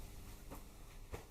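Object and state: Nothing is struck.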